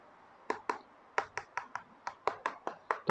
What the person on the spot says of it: ผมเคาะดูก็ยังไม่เห็นความแตกต่างของความเป็นโลหะ